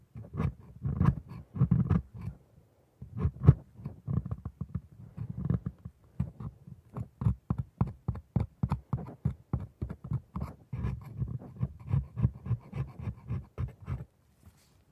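A thin metal dental scaler scrapes and picks along the tooth surfaces of a hand-sized plastic typodont, with white resin teeth set in a solid red gum base, held in a gloved hand. Many short, dry scraping and picking strokes come in quick bursts. The sound is low and muffled, with almost no ring after each stroke.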